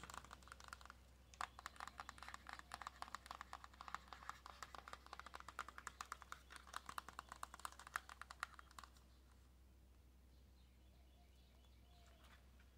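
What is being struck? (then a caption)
Small cardboard box with clear plastic window. Long nails tap rapidly on a small, hollow white cardboard press-on nail box with a clear plastic window. The result is a quick, dense run of light, dry clicks with almost no ring. The taps stop at about nine seconds, leaving only a faint low hum and quiet rustling.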